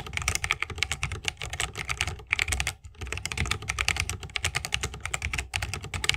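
Fingertips of both hands type fast on an RGB-lit 60% mechanical keyboard with plastic keycaps on Holy Panda tactile switches, set in a solid bamboo wooden case resting on a wrist rest. A dense stream of quick, bright clacks with a low, rounded thock underneath is heard, each keystroke dying away instantly. Brief pauses break the run near 2.8 and 5.5 seconds.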